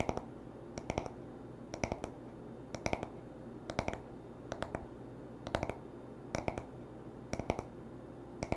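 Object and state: Wooden hairbrush back.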